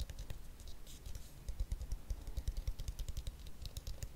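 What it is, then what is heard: Plastic hairbrush tapped and scratched. Fingernails tap and scratch the shell of a blue, hollow plastic detangling hairbrush held close. The result is a rapid, uneven patter of short, dull knocks with a deep low thud beneath faint bright clicks.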